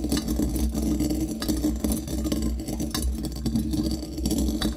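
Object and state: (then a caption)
Brass mortar grinding coffee beans. A small hollow brass mortar held in one hand and partly filled with coffee beans is struck and ground with a brass pestle against its inside wall and bottom. The result is a steady stream of clinking, rattling taps over a low hum, with a metallic ring around 215 Hz that fades quickly after each hit.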